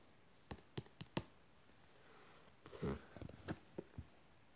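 A fingertip taps and scratches the glossy printed cover of a yellow paperback book, "Lufta e Trojës", which has a glossy cardboard cover and lies flat, solid and closed. A string of short, dull, low taps is heard, with a brief soft scratching rustle in the middle. The taps are quiet and stop almost at once, in a hushed, close setting.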